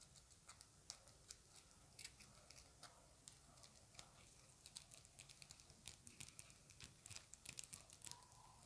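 Long acrylic nails tap a small, round, dark plastic compact makeup case, partly hidden by the fingers. The result is a quiet, irregular run of many light, bright clicks that stop almost instantly, over a soft low hiss.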